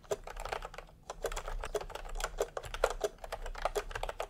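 Bare fingertips of both hands type fast on a full-size pastel plastic retro keyboard with round plastic typewriter-style keycaps, resting on white fabric. Rapid, closely spaced clacks run continuously, each a short, dry plastic tap with a mid-pitched click and almost no ring.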